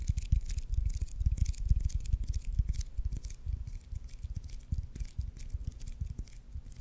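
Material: Leather.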